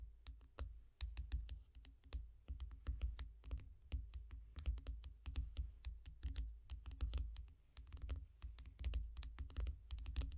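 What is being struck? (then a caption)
Tablet with glass screen. Long nails of both hands tap quickly on the glass screen of a small tablet lying flat in a yellow foam bumper. A fast, uneven stream of sharp, bright clicks sits over a steady low hum, each tap dying away almost at once.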